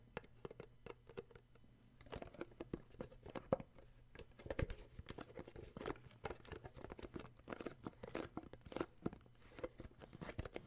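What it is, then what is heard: Cardboard gift box. Fingertips tap and grip the sides of a small, hollow, glossy red cardboard gift box with an illustrated sleeve, held in the hands. The result is a quiet, rapid stream of short, dry taps mixed with soft crinkling scratches, over a faint, steady low hum.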